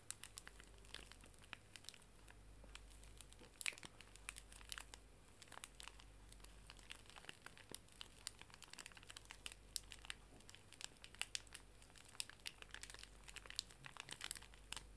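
A full, small pink plastic-film pocket tissue pack is held horizontally while its plastic wrapper is squeezed and crinkled with fingertips and nails. Dense, continuous crinkling runs throughout, made of many sharp, bright crackles with almost no ring, over a faint steady low hum.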